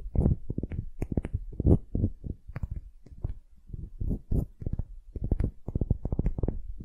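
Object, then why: Small solid wooden ball. Long nails scratch a palm-sized solid wooden ball held in one hand. They make a rapid, uneven series of short, dry scraping strokes that sound low and muffled, with a few faint bright ticks. Each stroke stops almost at once, with no ring.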